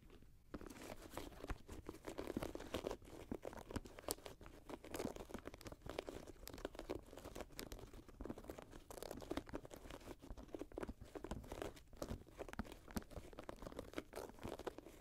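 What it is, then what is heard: Suede and mesh sneaker, scratched. Long nails scratch the suede and mesh upper of an empty grey Jordan high-top sneaker lying on a lap. The result is a quiet, steady stream of dry, crunchy scratching and rasping with dense, rapid bursts that stop abruptly and leave almost no ring.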